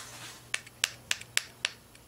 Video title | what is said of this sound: Xray tube deconstruction complete | this window happens to be made of metal you know you can hear that